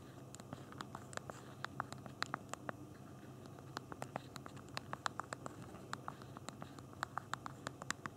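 Thumbs tap the small plastic keys of a handheld BlackBerry phone's physical keyboard while typing. Quiet, crisp, dry clicks come in an uneven typing rhythm, each ending almost instantly, over a soft low background hum.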